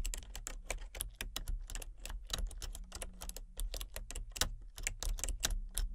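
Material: Plastic.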